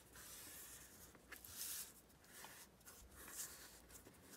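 Fingertips with long nails press and slide along the folds of a single thin sheet of printed pear-pattern origami paper as it lies flat on a green cutting mat, creasing and smoothing it into an envelope. Quiet, bright, papery rubbing and swishing rise and fall in soft bursts, with a faint crackle as the folds are pressed flat.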